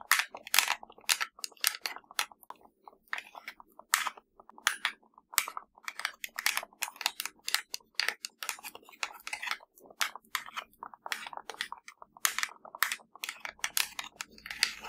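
Long blue acrylic nails tap quickly across the button rows of a small, hollow, black plastic universal TV remote with rubber buttons, resting on grey fabric. The result is a rapid, uneven stream of dry, bright clicks and light clacks, each dying away almost instantly, with no low-end weight.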